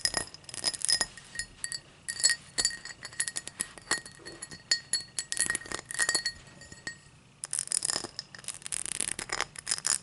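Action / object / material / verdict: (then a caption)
tap / tall drinking glass / glass / none. A tall drinking glass is tapped and scratched in quick, irregular bursts, producing bright, sharp clinks with short ringing tones around 2 kHz and high up. The taps come steadily with a brief quiet gap near the seven-second mark before resuming.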